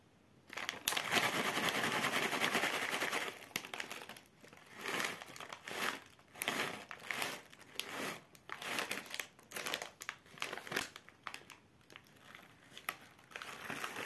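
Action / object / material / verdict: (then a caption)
scrape / metallized plastic foil snack bag / plastic foil / none. Bare fingertips squeeze a medium Big Bob wasabi-pea snack bag, made of metallized plastic foil and filled with peas, crinkling and flexing the foil and perhaps starting to tear it open. A dense, bright crinkle runs steadily for the first few seconds, then breaks into short bursts of crackling with quiet pauses between them. Other candy packs lie untouched on the table.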